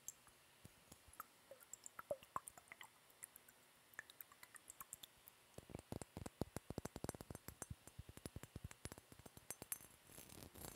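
Long yellow-painted nails tap and scratch a small, empty, clear faceted glass bottle with a glass stopper, held close to the microphone. Quiet, sparse clicks and scratches in the first half give way to a dense, rapid run of sharp, dry taps with bright edges that stop almost instantly.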